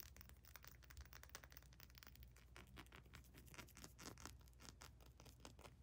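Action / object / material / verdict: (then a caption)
tap / small glass bottle with ridged plastic cap / glass / none. Long nails quickly tap and scratch a small amber glass essential oil bottle, moving over its ridged black plastic cap, its label and the glass. The result is a quiet, continuous stream of fast, crisp clicks and scratchy strokes with bright edges over a steady low rumble.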